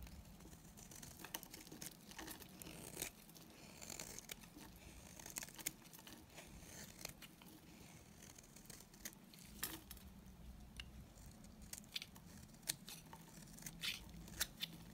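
A solid, dry white bar soap held in the hand is shaved with a utility knife blade into crumbly curls. Quiet, crisp scraping and crinkling is broken by many short, bright ticks and snaps over a faint low hum. The dry curls crumble off as the blade scrapes along the bar.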